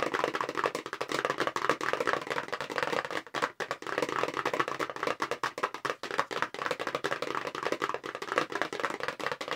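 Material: Cardboard.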